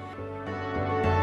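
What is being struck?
Nothing is struck.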